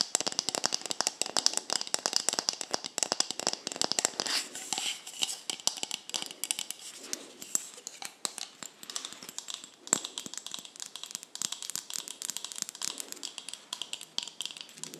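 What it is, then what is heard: Plastic cosmetic bottle. Long nails tap and scratch along a white plastic cosmetic bottle with a green label, a black cap and a hollow body. Over the full clip they make a dense, rapid stream of short, dry clicks and scratchy rustling. The sound is bright and thin, with almost no low end.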